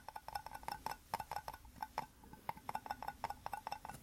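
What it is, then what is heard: Hollow, empty plastic cups joined rim to rim. Two small, hollow, empty white plastic cups joined rim to rim are held up and tapped and scratched with fingertips and nails. About twenty quick, light, hollow clicks sound at an irregular pace, each with a clear pitch near 900 Hz that dies away almost at once. Soft scratchy rustling fills the gaps, and the whole sequence stays quiet.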